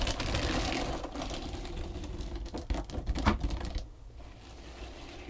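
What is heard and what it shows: Long pointed green nails tap and scratch a long, flat, pale pink textured foam back-buffer body sponge. The result is a rapid, irregular patter of soft, dry taps and scratchy rustling, mostly low and muffled, with a few sharper taps near the middle. It then fades to a quieter hiss at the end.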